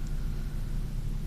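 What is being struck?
Nothing is struck.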